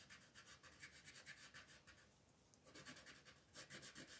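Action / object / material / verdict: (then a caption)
scrape / colored pencil on a paper sheet / paper / none. A pink colored pencil is rubbed back and forth over a flat sheet of white paper with a floral print to shade the petals, while the other hand, with long nails, steadies the sheet. Quiet, bright scratchy strokes come in rapid rhythmic bursts, with a brief softer lull in the middle before the shading resumes.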